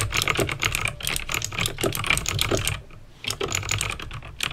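Fingertips with painted nails type fast on a backlit plastic mechanical keyboard with clicky green switches. A dense run of sharp, bright clicks and clacks, centered around 2.4 kHz with a low thump under each keystroke, briefly pauses just before three seconds and then resumes.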